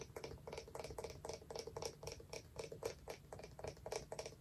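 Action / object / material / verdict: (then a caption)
tap / small wooden lidded jar / wood / none. Long nails tap rapidly and unevenly on a small, hollow, round wooden jar with a lid, recorded close up. The quiet taps give short, dry, hollow clicks around 460 Hz that die away almost at once, with faint bright ticks on top.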